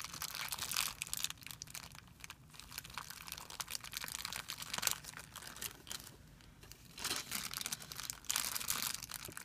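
A thin, clear plastic film bag resting on a white surface is pinched and crumpled by fingertips, giving a continuous, bright, crisp crinkling with dense, rapid crackles. The sound swells and eases in bursts, with louder crumpling flurries near the start and toward the end, and almost no low end.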